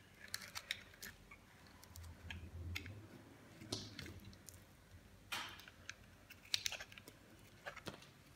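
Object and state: Dry bar soap being shaved.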